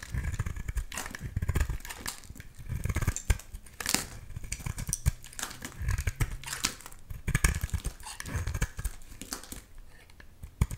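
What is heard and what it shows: A solid green bar of soap held in the hand is sliced and shaved with a box-cutter blade, chunks breaking off. Quick crisp scraping and crunchy cutting sounds with short bright edges repeat over dull low thuds, each dying away almost at once.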